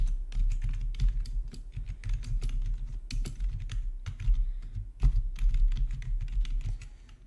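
Fingertips type steadily on a full-size black plastic RGB backlit gaming keyboard with a hollow housing, resting on a marble surface. Many short, dry key clicks with bright tips ride over a constant low hum for the whole clip, and the clicks fade at the end.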